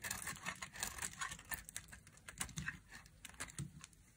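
A solid pink bar of dry soap, held in a hand with long painted nails, has its edge carved by a thin black blade in short cutting strokes, sending flakes falling off. The clip is a rapid series of crisp, dry scraping and crunching cuts with bright, hissy edges and almost no ring after each stroke.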